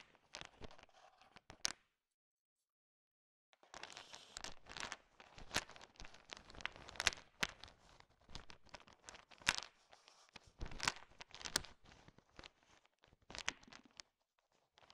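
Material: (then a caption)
Candy shell. A heap of small, hard, sugar-shelled peanut M&Ms filling a bowl is stirred and swept with a thin wooden stick, mixing the candies. Dense, bright clicking and rattling clatters come in quick bursts, with a short silent pause near the start before the stirring resumes and continues steadily.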